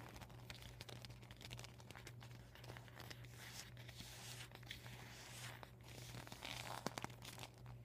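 Fingertips and medium painted nails tap and scratch the plastic panels of a folded, deflated vinyl beach ball. The result is a quiet, steady stream of crinkling, scratchy rustles and soft bright taps over a constant low hum, with a few sharper clicks near the end.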